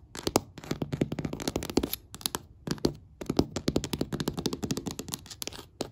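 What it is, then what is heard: Wooden floor. Several long, black, pointed nails rapidly tap and scratch along the grain of large, solid hardwood floor planks. The result is bursts of quick, dry clicks and short scratchy strokes, separated by brief pauses.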